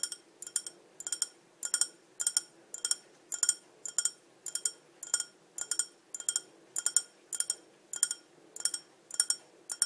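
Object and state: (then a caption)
Small ribbed glass cup. A small, hollow, empty clear glass cup with a green-tinted base and ribbed sides is held in one hand and tapped with long dark-painted nails. Quick, bright clinks come in short clusters throughout, each dying away almost instantly. The sound is thin and high with no low end.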